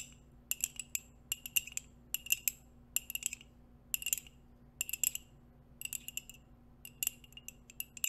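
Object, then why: Ceramic mug tapped with nails and metal rings. Long nails and metal nail rings tap a hollow white ceramic coffee mug held in both hands. Quick bursts of bright, clinking taps centered near 2.8 kHz come in short clusters, each dying out almost instantly. A faint, steady low hum sits underneath.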